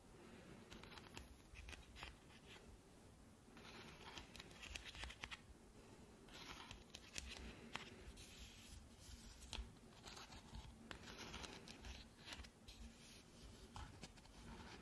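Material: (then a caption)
Plastic. Long nails tap and scratch the smooth swirl top of a hand-sized hollow plastic ice-cream-cone lamp, lit pink. The result is a quiet, steady stream of dry scratching and light, clicky taps with a bright hiss, each tap dying away almost at once.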